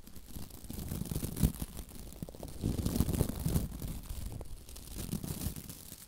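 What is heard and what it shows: Long nails rake the white plastic bristles of a hand-sized scrub brush with a labelled handle, held close to the microphone. The result is a dense, bassy scratching and crackling that swells and fades in waves, with a sharp flick near the middle and a louder stretch just after.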